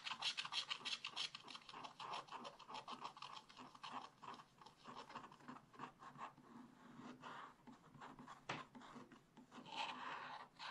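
A thin wooden stylus held in the fingers repeatedly scratches the black coating off a scratch-art paper page around a panda's body, in a spiral-bound activity book lying flat on a table, with the colourful panda picture underneath showing through and an unused brush lying nearby. The sound is a quiet, dry, bright rasping of quick back-and-forth strokes, about three per second and somewhat uneven. The strokes soften slightly midway, with one sharper scrape near the end.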